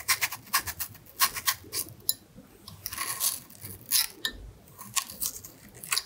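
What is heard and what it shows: A thin carving knife blade scratches and cuts lines into the skin near the stem of a whole, solid red apple held in one hand. The result is a quick series of crisp, bright scraping ticks and short crunchy cuts, a few of them longer rasping strokes, with almost no low end.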